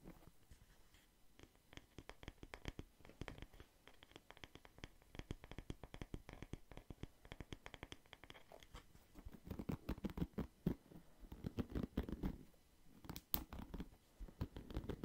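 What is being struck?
Wooden paddle hairbrush with plastic bristles.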